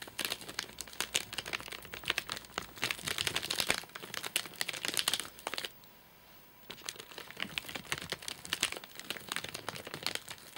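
Fingertips and short nails tap and scratch the top of a flat, sealed white plastic/paper-laminate nougat bar package with crimped edges, full of nougat bars and lying on a sofa. Dense, bright crinkling and scratchy ticking fill the clip, with little low end and no ring after each touch. A brief near-silent pause just before the seven-second mark splits it before the crinkling resumes.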